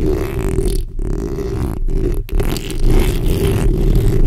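The backs of long acrylic nails on both hands scratch the hollow metal mesh head of a black condenser microphone. The result is a dense, continuous, low, rumbling scrape with a steady hum-like band around 400 Hz. There are brief dips in the texture, and it grows slightly louder toward the end.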